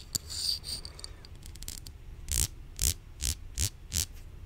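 A hollow white plastic supplement bottle with a printed label, held in hand, is scratched and tapped by long nails. Light scratching and soft ticks come first, followed by five distinct louder taps with a hollow, low thump under a bright click.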